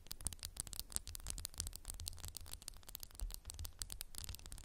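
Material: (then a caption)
Glass. Fingernails tap rapidly on a candle in a textured glass jar, making a dense stream of quiet, bright clicks and scratchy ticks over a low rumble. Each tap is short and dry, with no ringing after it.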